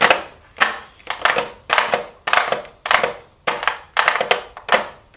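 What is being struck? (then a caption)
Cardboard makeup palette box with plastic front. A pink "MAKE STUDIO" cardboard makeup palette box with a clear plastic front, possibly shrink-wrapped, is held in the hands and tapped and scratched with super long blue acrylic nails. The result is a series of crisp, papery tapping and scratching bursts, each with a sharp onset and a quick rustling fade. The sound is bright and dry, centered in the mids with little low end.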